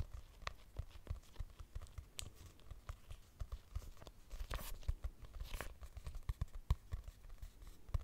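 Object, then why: Hardcover paper notebook. Long nails tap and scratch across a purple hardcover notebook with a price sticker and a solid paper block. A steady run of quick, soft, dull thuds mixes with brief papery scratches and crinkly brushes, all quiet and low-heavy with no ringing.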